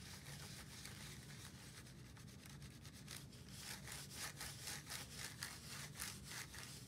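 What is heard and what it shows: A handheld plastic scientific calculator, held in one gloved hand, is rubbed with a white wipe over its case and buttons. Quick, scratchy back-and-forth strokes repeat at roughly four per second, bright and hissy, growing a little louder in the second half. A steady low hum sits underneath throughout.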